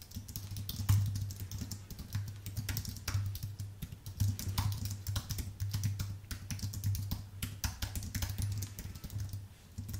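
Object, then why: Keyboard with plastic keys on an aluminium base. Fingertips type steadily on a white full-size Apple Magic Keyboard with plastic keycaps on an aluminium base. The result is a fast, uneven stream of light, short clicks with bright edges over a steady low hum.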